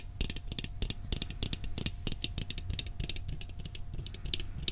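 A round, hollow blue steel cookie tin is held tilted and tapped on its side with fingertips and nails. A rapid, steady run of short, dry taps has a low hollow body and bright metallic clicks from the nails, with each tap dying away almost at once.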